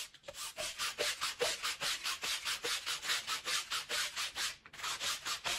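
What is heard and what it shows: A long-handled green push broom with stiff bristles scrubs back and forth across a small wet, soapy Persian woven pile rug of wool-type textile lying flat on the floor. About 14 steady, rhythmic strokes each make a bright, wet scratchy hiss with almost no low end.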